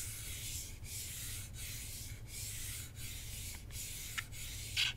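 Fingertips and short nails rub and scratch across the plastic face of a hand-sized hollow Nintendo Switch controller, with red and blue Joy-Cons attached to a black grip, held in the other hand. Steady, bright, hissy rubbing strokes repeat in an even rhythm over a low rumble. A few short, sharp scratchy ticks stand out near the end.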